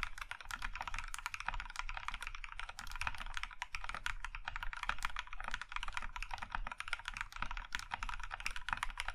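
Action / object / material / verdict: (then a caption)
tap / mechanical keyboard with plastic keycaps / plastic / none. Both hands type steadily with their fingertips on a compact Iron 165 mechanical keyboard, which has a maroon metal case and cream plastic keycaps and rests on a grey felt mat. The keys give a continuous stream of quick, short clacks with a bright click over a low thump.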